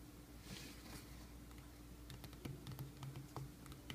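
Fingertips of both hands tap and scratch across the paper shipping label and surface of a medium, closed, hollow corrugated cardboard mailing box resting on a wooden sill. A soft, quiet scratching in the first half gives way to a loose, irregular run of light, dull taps with a short, muffled knock.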